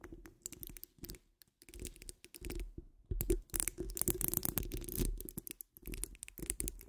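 Long almond-shaped nails scratch the sides and top of a hollow metal mesh microphone grille. Irregular bursts of gritty scraping and rasping, heavy in the low end with a bright crackle on top, come and go with brief pauses between strokes.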